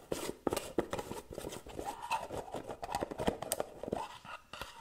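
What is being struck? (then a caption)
Cosmetic jar with metal lid. Long nails rapidly tap and scratch the rim of the gold metal lid and the body of a small round white cosmetic jar, which is held up and turned sideways. Quick, irregular clicks and short scrapes overlap in a dense, fast pattern, with dry, bright ticks over a faint mid-pitched metallic tone and almost no ring after each hit.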